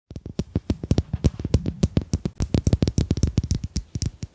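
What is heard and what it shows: Domino tiles are tapped in a quick, uneven run of 28 short, dry clicks with a low thud, each dying away almost instantly. The taps carry a bright crisp edge with no talking.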